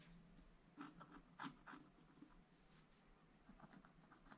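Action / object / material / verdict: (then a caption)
scrape / black-coated scratch art paper scratched with a wooden stylus / coated paper / none. A wooden stylus scratches fine lines into the black coating of a flat scratch-art paper sheet lying in a book. Short, dry scratching strokes come in irregular bursts over a faint low background hiss. Each stroke has a brief bright, papery rasp that stops quickly.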